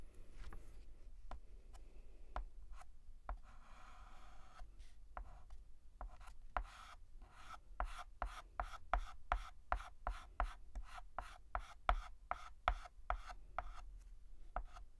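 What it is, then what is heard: Chalk writing on a blackboard. A hand writes on a large, flat, painted black chalkboard with a stick of white chalk, making short tapping strokes. Sharp, dry chalk taps come at first sparsely, then in a quicker, fairly steady run, with a longer scratchy drag in between. A low hum sits underneath.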